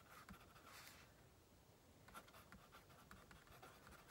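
A pink plastic mechanical pencil, held in the right hand, writes and scratches on the top sheet of a stack of white paper on a wooden table while the left fingertips hold the paper. Quiet, dry scratchy strokes come in short bursts with a bright hiss. The bursts are loudest near the start and after two seconds, with a softer stretch in between.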